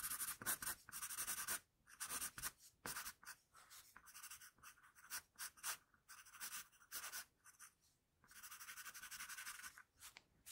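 The graphite tip of a hand-held wooden HB pencil scratches short shading strokes near the shoulder of a finished pencil portrait on a flat sheet of drawing paper. Quiet, bright, dry scratching comes in quick bursts separated by brief pauses, with almost no low end.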